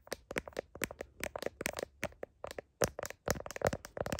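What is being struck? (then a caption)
Smartphone in a plastic case. Long nails tap sharply on a smartphone in a blue heart-shaped plastic case and on its camera bump. About twenty quick, bright clicking taps come in an uneven series, each ending almost instantly.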